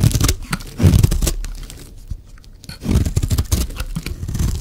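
A solid, rectangular, dry pink soap bar held in the hand is shaved along its edge with a metal blade, producing curled flakes. Heavy, low crunchy scraping and tearing strokes come in bursts, dipping quieter near the middle before resuming strongly.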